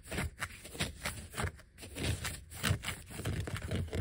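Fingertips and short nails scratch and tap a flat, thin yellow vinyl sheet of die-cut letter and number stickers with some letters peeled off. The result is a loose, uneven run of soft, low, muffled taps and brushy scratches, each dying away almost at once.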